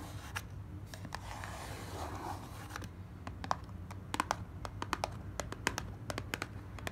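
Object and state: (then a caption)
Cardboard box, hollow. Long black nails scratch and tap the inner base and walls of an open, hollow lilac cardboard box. Soft papery scraping runs under a steady low hum, broken by a quick, irregular series of sharp, dry taps with bright clicky edges that die away almost instantly.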